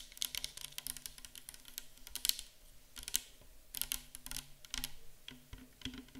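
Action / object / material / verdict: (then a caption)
tap / plastic bottle of liquid / plastic / none. Long acrylic nails tap and scratch quickly along the sides of a tall, clear plastic micellar water bottle that is mostly full of pale liquid. The result is a steady stream of sharp, bright clicks with faint scratchy texture, each dying away almost at once, plus a soft low hum underneath.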